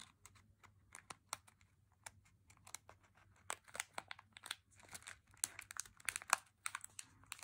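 A small, full plastic bag of M&M's milk chocolate candies is held in both hands and squeezed and crinkled with the fingers, while the chocolate bars nearby are left untouched. Quiet, dense, bright crackles and crinkles come in quick bursts, each one sharp and dying away almost instantly.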